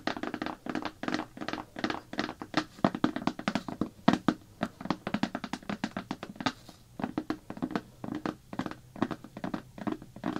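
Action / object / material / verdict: tap / plastic bucket lid / plastic / none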